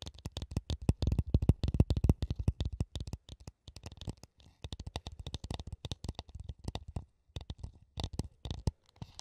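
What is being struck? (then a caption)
Small clear plastic funnel. Fingertips with red-painted nails tap and scratch along the rim and spout of a small, translucent, hollow plastic funnel held in both hands right up to a microphone. The result is a rapid, uneven flurry of soft, dry, thumpy taps that are mostly low and die away almost instantly, with faint scratchy texture in between. The taps come in bursts separated by brief pauses near the middle and toward the end.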